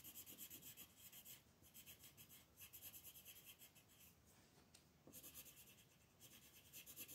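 A hand with long red-painted nails colors a mandala printed on a large, thin white coloring book page lying on a table, rubbing and scratching the tip of a dark green wooden colored pencil back and forth across the paper. The result is quiet, bright, scratchy strokes in rhythmic bursts, with a softer, slower stretch in the middle before the brisk strokes return.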